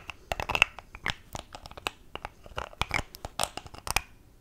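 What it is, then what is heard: Plastic cosmetic tube. Long acrylic nails tap and fiddle with a small mint-green plastic cosmetic tube and its pink plastic cap, held in both hands. The result is an irregular run of short, bright clicks and scratchy, crinkly taps, each dying away almost instantly, with quiet pauses between bursts.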